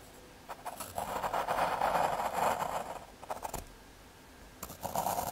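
A graphite pencil tip scratches and draws outline strokes on a small square of thin, solid brown fiberboard (MDF/hardboard) lying on red cloth. Bursts of dry, raspy scratching with a midrange hiss come in and out, louder in the middle and again near the end, with quiet pauses between strokes.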